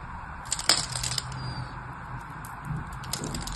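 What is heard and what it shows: A blade carves cubes and slices along the edge of a solid white bar of soap held in the hand, and the pieces crumble off. The sound is quiet, bright crunching and crackling with sharp clicks, set over a steady low hum.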